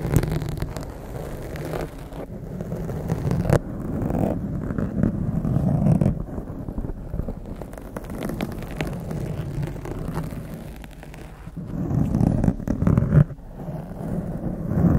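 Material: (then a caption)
Foam. A blue foam windscreen on a microphone is scratched and gripped by both hands with long acrylic nails. The result is a dense, low, muffled rustling and crackling that swells and fades, loudest around the middle and near the end.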